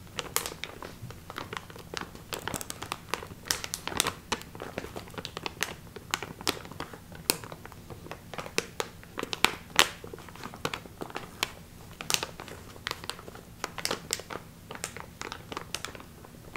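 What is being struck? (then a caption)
Metallic foil pouch. A small, hollow silver metallic foil resealable pouch, partly filled with a small round item visible inside, is held in both hands and squeezed and crinkled with the fingers. The result is a steady stream of crisp, bright crinkles and sharp crackling snaps that die away almost instantly, over a faint low background hum.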